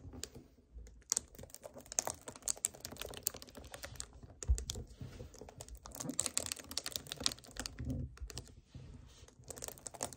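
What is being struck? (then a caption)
Plastic drink bottle. Fingertips and nails tap and scratch near the neck and shoulders of a hollow 1 L white plastic strawberry kefir bottle standing on a table. The result is a dense run of quick, dry clicks and scrapes with bright, crisp edges and a soft low thump under some taps, each dying away almost at once.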